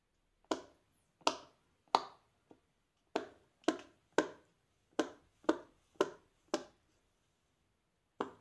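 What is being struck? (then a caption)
Silicone pop-it fidget toy. A fingertip in a black lace glove presses and pops the hollow bubbles of a large, flat, square rainbow silicone pop-it fidget toy. Twelve sharp, dry, tap-like pops sound at an uneven pace, each one snappy and midrange-focused with a brief decay; one pop is faint. A long pause comes before the final pop.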